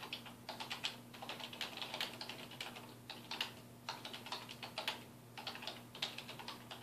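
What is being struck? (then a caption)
Plastic computer keyboard. Fingertips type quickly on a dark plastic desktop keyboard resting on a wooden desk, producing rapid bursts of bright, short plastic clicks with brief pauses between bursts. A faint, steady low hum runs underneath.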